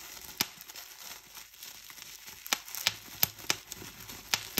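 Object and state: Plastic bubble wrap being popped.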